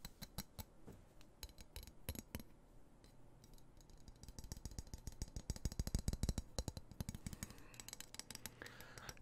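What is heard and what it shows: Fingertips tap and scratch along the solid steel blade of a dark metal knife held close to the microphone. The result is a rapid, irregular stream of sharp, dry clicks with a heavy low thump and almost no ring, plus soft scraping between taps that grows denser and louder toward the middle.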